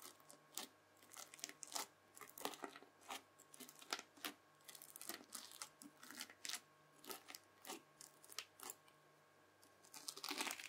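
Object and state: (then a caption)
Bubbly slime being stabbed. A lump of red bubbly slime is stabbed again and again with the tines of a white plastic fork. Each stab gives a short, bright, crackling pop with almost no ring-out, over a faint steady hum. It ends in a louder, denser burst of crackling.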